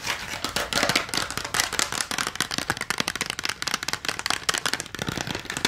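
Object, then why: Clear plastic blister front of an AA battery pack. Long nails rapidly tap and scratch the clear plastic front of a full AA alkaline battery blister pack held in both hands. The result is a dense stream of bright, crackly plastic clicks and rasping scrapes that stop almost instantly, with little low end.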